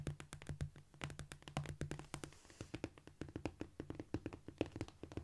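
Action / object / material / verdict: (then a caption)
tap / cork floor / cork / none. Fingertips tap rapidly across a cork floor in a quick, uneven scurrying rhythm. Each tap is a short, dull, quiet knock with a soft low body and almost no ring. A faint steady low tone sits underneath.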